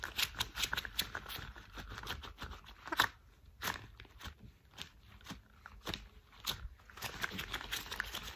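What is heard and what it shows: Worn thick cream rubber household gloves have their gloved fists and fingers rubbed and flapped together. The result is a quick string of bright, crinkly squeaks and soft slapping flaps with short dry bursts and brief quiet gaps. Each sound stops almost instantly, with little low end.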